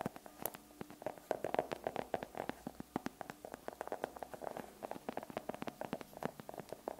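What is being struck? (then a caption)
Solid chocolate bar in foil. Long acrylic nails tap and scratch rapidly on a flat, solid chocolate bar that is partly unwrapped with foil at one edge and held in one hand close to the microphone. The result is a quiet, dense run of short, dry clicks with a mid-pitched tone around 630 Hz and scratchy textures between them, each tap dying away almost instantly.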